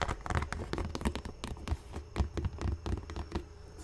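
Fingernails and fingertips tap on the leather toe cap of an empty black leather Dr. Martens Chelsea boot, then hands hold and handle the boot with its yellow-stitched rubber welt and rubber sole. The result is a loose, irregular run of short, dull, low-heavy taps mixed with scratchy rustling, each sound dying away almost at once.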